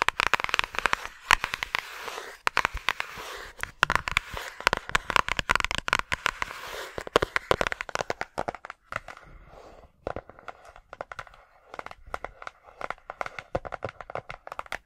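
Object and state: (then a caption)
Paper envelope tapped and scratched. Long acrylic nails tap and scratch the surface of a flat yellow paper envelope or card, making a dense run of sharp, crackly clicks and papery scratches. The first half is busy and bright, while the second half thins to sparser, quieter taps.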